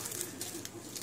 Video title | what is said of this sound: Family Memories Monday Collaboration. .... Texas Chili | hear how crispy it is